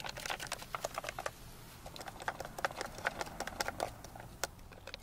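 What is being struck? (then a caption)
Glass jar of small tablets. A medium clear glass jar with a gold metal lid, nearly full of white tablets, is held in the hands, tapped with long dark nails, then shaken and tilted so the tablets rattle. The result is a dense run of quick, bright clicks and small rattles, each dying away at once, with brief quieter gaps between bursts.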